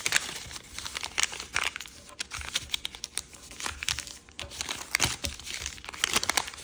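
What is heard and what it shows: Fingers fold a sheet of red floral chiyogami origami paper with a yellow back, then crease and rub its edges. Bright, papery crinkling and rustling comes in quick, irregular bursts with a few sharper snaps, and each sound stops dead without ringing.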